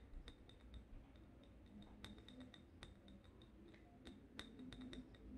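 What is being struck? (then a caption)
Glass candle jar. A small, lit, wax-filled cylindrical glass jar candle with a label is held in both hands and tapped with long red-painted nails. Quick, light clinks come in an irregular rhythm, each with a bright, brief glassy ring over a quiet low background.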